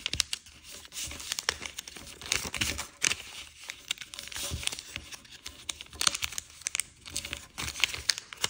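A thin, multicolour patterned origami paper sheet is folded on a wooden table and pressed flat with the fingertips, rubbing along the creases. Dry, bright crinkling and rustling comes in quick, uneven bursts, with short crisp crackles and no lingering ring.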